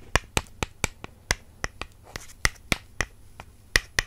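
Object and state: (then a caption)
Wooden makeup brush handles tapped together. Two wooden makeup brush handles are tapped together in a steady series of short, dry clicks across about four seconds. Each tap is crisp and woody, with a bright snap centered near 1.9 kHz and almost no ring.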